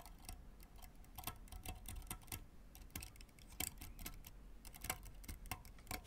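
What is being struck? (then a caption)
Synthetic tennis strings on a graphite racket frame. A white fork is dragged and plucked across the synthetic strings of a full-size blue and white graphite tennis racket lying flat on cloth, near the edge of the frame. It makes a quick, uneven run of dry, clicky ticks and scratchy plucks with a faint tone around 740 Hz, very short ring, and a soft low rumble underneath.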